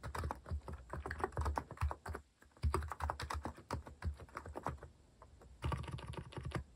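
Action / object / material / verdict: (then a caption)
tap / plastic mechanical keyboard / plastic / none. Fast, continuous fingertip typing on a compact white-cased plastic mechanical keyboard with cat-themed plastic keycaps. The key presses are short, sharp clacks with a deep thocky body, and they run in quick bursts with a brief pause near the middle.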